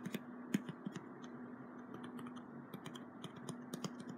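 Fingertips tap and scratch the surface of a small, flat piece of brown corrugated cardboard with printed text, held in the other hand. A quick series of light, dry taps and short scratches plays over a steady low hum, and each tap dies away almost at once.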